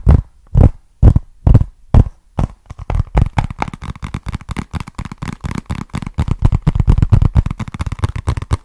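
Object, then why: Small cardboard box. Fingertips and nails tap and scratch a small, flat, hollow brown cardboard box with a barcode label, held in both hands. Six slow, separate, dull hollow thuds give way to a quick, uneven flurry of low, deep taps mixed with soft scratching. Each tap dies away almost at once.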